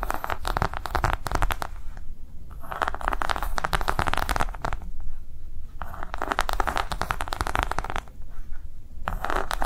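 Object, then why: Silicone coaster. Long nails tap and scratch across the ridged surface and edge of a thin, flexible, round green silicone coaster. Fast, dry bursts of tapping alternate with raspy scratching streaks that sound dull and heavy in the low end, with no ring after each hit.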